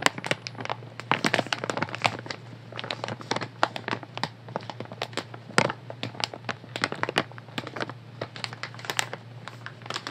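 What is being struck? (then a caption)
Soft plastic wet wipes packet. A full, light blue soft plastic wet wipes pack is held in both hands and tapped and scratched with long nails. Rapid, sharp taps mix with crinkling, scratchy rustles that reach bright highs, over a faint steady low hum throughout.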